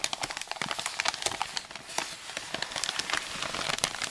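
A medium-sized white paper mailing envelope with bubble padding, a Royal Mail label and recycling print, flat and closed with contents inside, is handled and rubbed with fingertips and palms. Dense, bright crinkling and crumpling crackles continue throughout with almost no low end.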